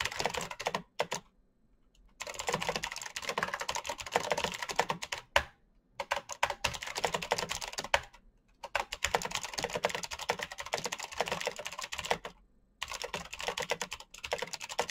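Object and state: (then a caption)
Plastic mechanical keyboard, clicky switches. Fingertips type fast on a full-size black plastic Razer mechanical keyboard with clicky green switches and RGB backlight. Bursts of sharp, bright clicks and clacks run for a few seconds at a time, separated by short silent pauses.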